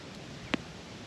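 A finger flick against a loaf of survival damper bread baked buried in campfire coals. It gives one short, hollow-sounding tap with almost no ring, over quiet outdoor background noise. The hollow sound shows the bread is baked through and ready.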